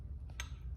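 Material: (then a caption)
Glass. A small kid-size glass teacup from a Temu haul is set down on a surface, giving a single short clink with a brief ring over a low background hum. Though it almost feels plasticky, it sounds like glass and is judged to be definitely glass, just less fragile than wine glasses.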